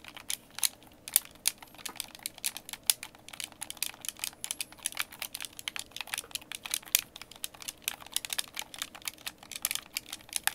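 A white, hand-sized, hollow plastic Xbox game controller is held in both hands while fingertips tap and click its buttons and thumbsticks. The result is a rapid, irregular stream of crisp, bright plastic clicks that die away almost instantly, with almost no low end, over about ten seconds.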